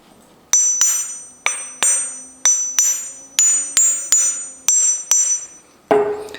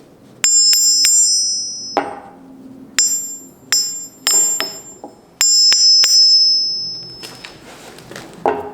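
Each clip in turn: First: wrought iron anvil with a moderate ring. Second: ringing London pattern anvil.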